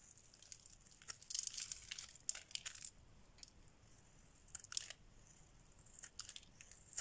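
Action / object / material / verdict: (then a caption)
scrape / bar soap shaved with a metal blade / soap / none. A solid pink bar of dry soap, held in the hand, is shaved with a metal blade, sending curls and flakes falling. Quiet, bright, dry scraping and crinkling bursts come in irregular clusters between near-silent pauses.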